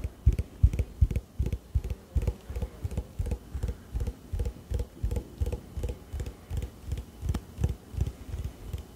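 A green plastic hand-soap bottle with a pump, which appears full, is held in one hand and tapped with the fingernails of the other. About thirty quick, dull taps land in a loose, steady rhythm, each one a short, low thud with a faint bright click that dies away almost at once.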